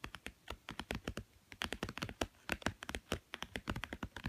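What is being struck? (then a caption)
Thick cardboard board book with glossy cover. Fingernails rapidly tap and scratch the blue glossy cover of a small, thick, solid children's board book with stacked cardboard pages, lying on a woven mat. About 27 quick, dry clicks and scrapes follow one another, each short with a bright crisp edge and a slight low thump, and there is a brief pause midway.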